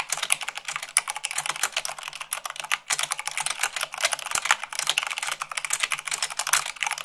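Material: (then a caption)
Plastic. Long acrylic nails type fast on the white plastic keycaps of a full-size mechanical keyboard with a black base, making a dense stream of bright, sharp clicks. The taps come quickly with almost no low end and die away almost instantly.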